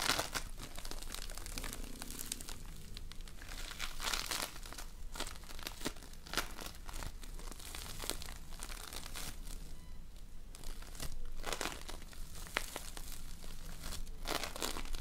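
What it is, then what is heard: Foam bead slime (floam). A multicolored lump of floam, slime packed with tiny polystyrene foam beads, is squeezed and stretched apart by fingertips with painted nails. Quiet, dense crunchy crackles and crinkles pop continuously over a low steady background, with brighter bursts of crackling where the lump is pulled apart.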